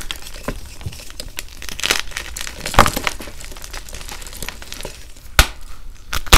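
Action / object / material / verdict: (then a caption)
scrape / reformed gym chalk block / chalk / none. Bare fingers and thumbs squeeze and crush blue-dyed, reformed gym chalk (magnesium carbonate) blocks, solid and crumbly, piled in a bucket next to glittered chalk bars, breaking them into chunks and powder. The crushing gives an uneven stream of crisp, glassy crunches and dry crackles, broken by a few sharp, bright snaps that die away almost instantly.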